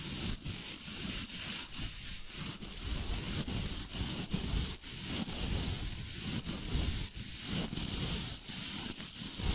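A hand-sized dry body brush with stiff natural bristles and a white handle has fingertips and a palm rubbed across its bristle face. It gives a continuous, steady scratchy rubbing with a low rumble and bright bristly hiss. Faint dips in level come with each stroke.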